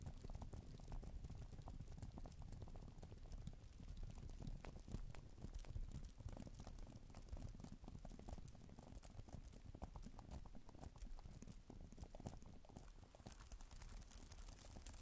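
Long nails type quickly on a black plastic tablet type-cover keyboard with plastic keys, making a fast, uneven patter of soft clicks and taps. An added echo smears the taps into a steady, boomy wash that is heavy in the low end, with faint bright ticks on top throughout.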